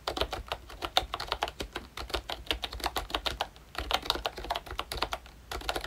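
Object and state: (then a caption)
Plastic membrane keyboard. Fingertips type on a pink plastic retro membrane keyboard from ROYCHE, a Disney Mickey Mouse model with round keycaps and a hollow body. A rapid, steady stream of short, bright plastic clicks with a mid-range clack and almost no ring. There is a brief lull just before the four-second mark.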